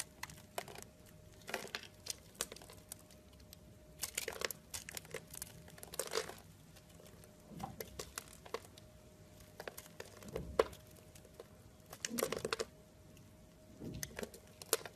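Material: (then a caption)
Soap. A utility blade carves and scrapes small cubes off a solid blue and white striped soap bar with a scored surface, held by fingers. Quiet, crisp crunching and crinkling scrapes come in short, bright bursts, with a faint steady mid tone underneath.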